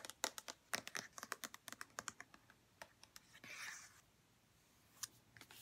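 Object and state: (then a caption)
Plastic lotion bottle. A white plastic St. Ives lotion bottle is held in the hands and rubbed and scratched with fingertips and long nails. Quiet, bright, irregular clicks and taps come in quick bursts, with a brief soft scratchy rub near the middle. A few more sharp taps follow at the end.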